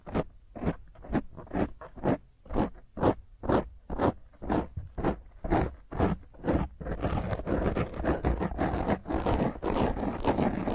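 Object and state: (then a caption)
Foam microphone windscreen being scratched. Long fingernails scratch intensely at a black foam microphone windscreen while a hand grips its top, making rough, close scraping strokes. The strokes come in a steady rhythm of about two per second, then blur into dense, continuous scratching for the last few seconds.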